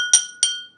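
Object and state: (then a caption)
Drinking glass struck with a spoon, tinny. A drinking glass is struck twice with a spoon, giving two bright, tinny clinks. A steady high ring near 1.4 kHz carries between and after the strikes. The tone is thin and metallic rather than full.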